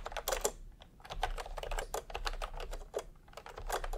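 Fingertips of both hands type continuously on a full-size pastel plastic typewriter-style keyboard with round plastic keycaps set in a hollow plastic case. The result is a steady stream of hollow, clacky keystrokes with quick, dry decays, a mid-pitched knock over a low background rumble, and bright click edges.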